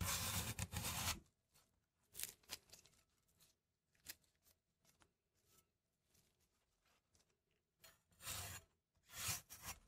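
A large cast-iron cleaver, held in a gloved hand, slices through a small remaining wedge of solid red apple. Loud, crisp, bright crunching bursts open and close the clip, with softer snaps and scraping cuts in between. The cuts come unevenly in a quiet space.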